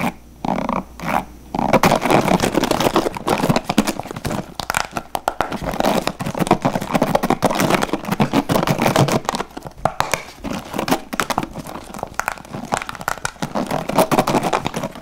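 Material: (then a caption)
Plastic. A blue plastic paddle hairbrush is held upright while fingertips rapidly strum and scratch its white plastic bristles. A few brief bursts of scratching give way to a dense, continuous crackling rasp that stays fast and busy in the midrange for the rest of the clip.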